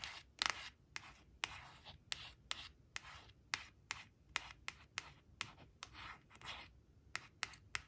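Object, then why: Glossy cardstock card scratched with fingernails. Long blue-painted nails trace and scratch along the printed outline of a yellow crayon picture on a small, flat, glossy cardstock flash card lying on a woven fabric placemat. The clip is a series of quiet, bright, dry scratching strokes with sharp clicks at their starts and almost no low end.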